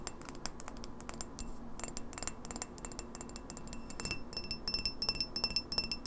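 Long fingernails tap quickly on the base and walls of a tall, empty, clear etched glass pint glass, held tilted over a wooden table. Rapid, uneven clicks and bright glassy clinks die away almost instantly over a faint low hum. Toward the end the taps grow louder and leave thin, high, ringing tones.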